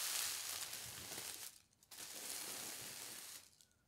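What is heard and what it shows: Fingertips with long red nails smooth and rub a large, thin, translucent white tissue paper sheet printed with pink hearts, spread on a table. Two bursts of soft, bright crinkling and rustling are heard, broken by a brief quiet gap, before fading out.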